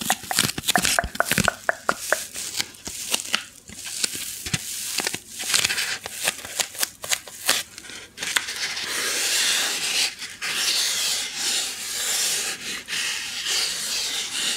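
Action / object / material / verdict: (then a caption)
scrape / styrofoam packing block / styrofoam / none. A small white solid styrofoam packing insert with a recessed cavity is rubbed and scratched with long nails and fingertips close to the microphone. For the first half, quick bright scratches and squeaky crackles come in rapid bursts; after that, it settles into a steady, hissy, high rubbing texture with little low end.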